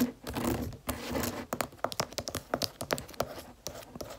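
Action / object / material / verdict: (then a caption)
tap / stiff cardboard planner cover / cardboard / none. Long red-painted nails tap and scratch the stiff, gold-striped cardboard cover of a closed spiral planner held up in the hands. A smeared scratching rustle at the start gives way to a quick run of short, dry taps that stop almost instantly.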